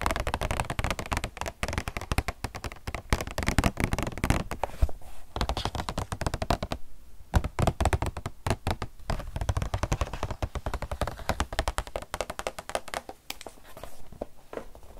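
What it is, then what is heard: Cardboard box with plastic window. A flat cardboard retail box with a clear plastic front, holding a black tablet case with empty space inside, is tapped rapidly with long nails. Dense, continuous clicking taps run throughout, with short, dry hits and a hollow low thump beneath the brighter clicks.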